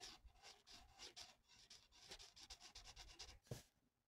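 A felt-tip marker held in the fingers colors a thin, flat paper mandala coloring sheet, its tip rubbing and scratching across the paper. Quick back-and-forth strokes make a soft, bright, papery rasp that rises and falls in short bursts. It ends with one sharper, louder stroke, then fades to quiet.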